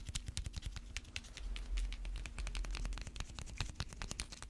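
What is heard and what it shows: Long red fake nails rapidly tap and scratch a small, hollow, coiled slap bracelet held in gloved hands; the bracelet is a metal spring band with a cream vinyl cover. The result is a quick, uneven stream of sharp, bright clicks and scratchy scrapes that die away almost at once, over a soft low rumble.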